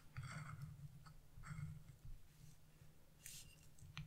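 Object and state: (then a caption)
Wax-coated scratch-art paper being scraped. A chisel tip scratches a branch area on black wax-coated scratch-art paper, leaving black flakes on the sheet. About five short, dry scraping strokes with bright, hissy edges sound over a steady low hum. Each stroke stops quickly with little ring.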